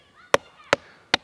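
A sounding mallet strikes a higher spot on a living tree trunk three times, testing the density of the wood fiber. Each blow gives a short, sharp knock with almost no ring. This spot sounds solid wood, more solid than the lower area of the trunk.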